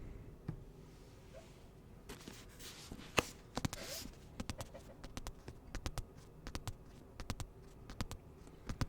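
Fingertips tap repeatedly on the hardcover of the book *The Lucifer Effect*, making short, sharp, dry clicks in quick irregular bursts. A brief soft rustle is heard partway through, and the taps then continue over a quiet background.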